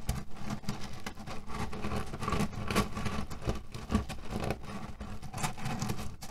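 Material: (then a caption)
Cherry pits. Fingertips and nails rub and scratch a cotton cushion filled with cherry pits resting on a table. The result is a steady, dense rustle with crunchy, pattering clicks as the pits shift and grind inside the fabric, heavy in the low end with short bright transients.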